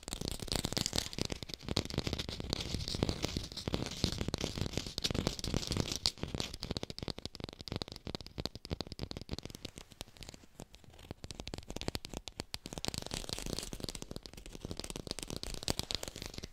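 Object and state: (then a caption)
Artificial plastic lemon with a textured skin. A textured artificial plastic lemon is fast-tapped with the fingers and recorded with a hi-fi mic, giving a dense, continuous stream of quick dull taps and crinkly scratching with a low body and a bright, hissy top. The tapping eases to a softer, sparser patch around the middle of the clip before picking back up toward the end.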